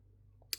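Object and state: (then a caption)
Smooth matte glass phone back. A single short, bright click on the smooth, matte glass back of a Z Fold foldable phone, used for comparison. It dies away almost instantly over a faint low hum, giving a thin sound with little character because the glass is smooth, even though it is matte.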